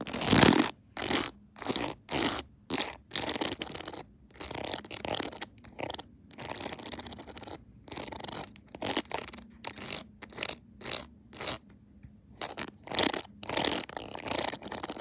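Long nails tap along the rhinestone-lined edges and back of a rhinestone-decorated plastic phone case standing on a tripod. The result is a steady run of short, bright, crackly tapping bursts with quick gaps between them, giving a light clicking and scratching texture and little low end.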